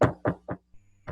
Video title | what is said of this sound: Aula dia 26/05 - patologia | Quando tu bate, tu escuta, então, um barulho de um som cavo, né? Um som que está oco ali por dentro